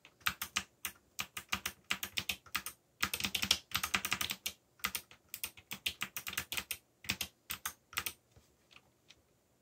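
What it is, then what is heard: Plastic mechanical keyboard. Fingertips type steadily on a backlit plastic mechanical keyboard with black plastic keycaps. Quick runs of bright, sharp clacks die away almost instantly, with little low end and brief pauses between bursts. The taps thin out toward the end.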